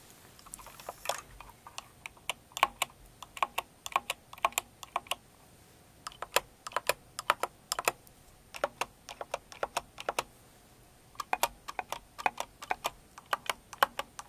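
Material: Plastic.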